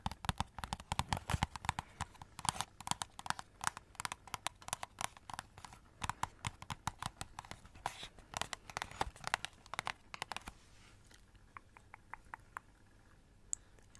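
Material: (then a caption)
Cardboard. Long red acrylic nails rapidly tap and scratch a hand-sized hollow cardboard Christmas cracker, with purple glitter paper ends and a silver foil middle, held close to the mic. Dense crisp clicks and papery scratches with a hollow ring around 950 Hz run for about ten seconds. The sound then thins to a few sparse, quieter taps.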